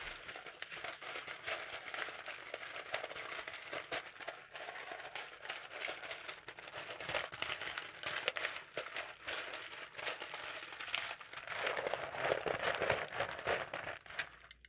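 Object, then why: Potato chips on a plate. Fingertips squeeze, crush and rummage through a pile of thin, dry, yellow potato chips on a shallow blue-rimmed plate held in one hand. Dense, irregular crinkling and crackling crunches run throughout, bright and papery with almost no low end, swelling louder near the end before trailing off.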